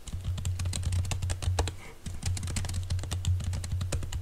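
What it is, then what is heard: Laptop keyboard with silicone cover. Fingertips of both hands type quickly on a laptop keyboard covered by a green silicone keyboard cover, making soft, muffled taps with short bright clicks. A steady low hum runs beneath the typing, which dips briefly around the two-second mark before resuming.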